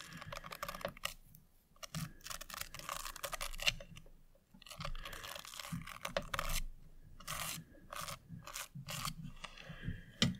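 A thin tool and long nails scratch and tap across the bumpy lid of a small, square, hollow Revolution Pro eyeshadow palette compact held in one hand, its lid covered with turquoise chip stones and clear rhinestones on a gold base. Dense, bright, crackly scraping and quick clicking bursts come in short runs separated by brief pauses, over a faint low rumble.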